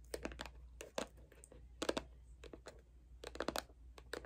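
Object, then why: Plastic lotion bottle. A small, hollow white CeraVe plastic moisturizer bottle with a blue cap is held in hand and tapped and scratched with long acrylic nails. The result is quiet, irregular clusters of sharp, hollow plastic clicks and bright scratchy rasps that die away almost instantly, over a steady low hum.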